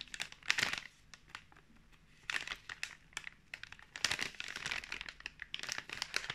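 A sealed, full pink plastic film pouch of fruit marshmallows is turned over and squeezed in both hands while fingertips rub and crinkle the film. Bright, crisp crinkling and crackling comes in irregular bursts separated by brief quiet gaps, with almost no low end.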